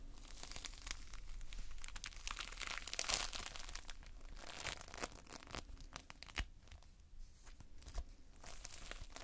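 A heap of multicolored Playfoam, foam beads held in a sticky binder, is squeezed and pulled apart by fingers. The result is a quiet, continuous run of bright, dense crackling and tearing sounds, with a few sharper snaps standing out near the end.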